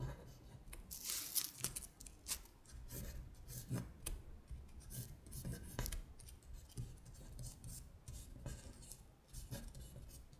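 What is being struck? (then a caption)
Paper sheet on a table. Long nails scratch and trace across a paper worksheet listing the months in Korean, which shifts slightly on the table. Quiet, bright, dry scratching strokes come in short bursts, with a faint low rumble underneath.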